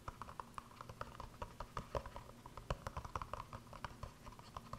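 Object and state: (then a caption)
Silicone cup tapped and scratched. A small, hollow, empty green silicone cup with star and planet cut-outs is held in both hands and scratched and tapped with fingertips and nails. It makes a quick run of about thirty soft, dry taps and scratches, each with a dull low thud and a brief hollow midrange knock that dies away at once.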